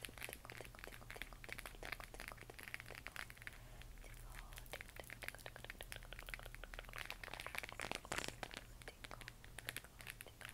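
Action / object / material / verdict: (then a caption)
tap / hollow plastic moon lamp / plastic / none. A large, hollow plastic LED moon lamp glowing pale green is held in both hands and scratched and tapped with long nails. Quick, dry, crinkly clicks and scratchy taps come in a dense, irregular stream, bright and short with no ring. A steady low hum runs underneath the whole time.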